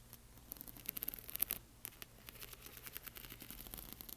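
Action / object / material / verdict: scrape / plastic half-pearl stickers on a film sheet / plastic / none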